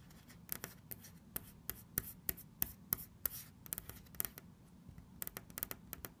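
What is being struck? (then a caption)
Painted wooden cabinet door. Long red nails scratch and tap the flat, solid wooden panel of a cabinet door printed with a bird motif. A quick, irregular series of sharp, clicky taps with almost no ring stands out over a faint, soft scratching between them.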